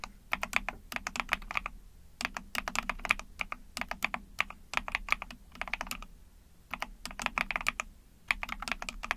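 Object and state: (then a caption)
Plastic mechanical keyboard being typed on. Rapid typing with long painted nails and fingertips on a small Epomaker TH40 44-key mechanical keyboard with an ABS plastic case, PC plate and backlit pink and white keycaps. Bursts of quick, bright, clicky keystrokes centred around 2.4 kHz come in runs separated by short pauses, each press dry with almost no ring.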